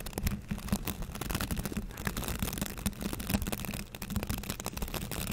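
A light green plastic hand scrub brush with dense white and green bristle tufts is scratched and flicked along its bristles by fingertips and nails. A rapid, continuous run of soft, dry scratching and ticking carries a low buzzy hum near 200 Hz, with the level rising and dipping throughout.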